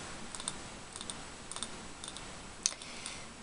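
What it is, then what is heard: Glass candle jar. A small glass candle jar filled with solid green wax, with a label on the front, is held in both hands and tapped with fingernails. About nine light, bright clicking taps sound in loose pairs, each with a very short high glassy ring over a faint background hiss.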